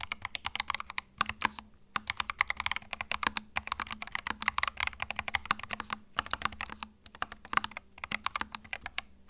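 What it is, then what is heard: Mechanical keyboard with plastic keycaps. Fingertips type continuously on a compact white mechanical keyboard with plastic keycaps. Rapid, sharp, bright clicks and clacks come in quick bursts with brief pauses, each keystroke dying away almost instantly, over a faint low hum.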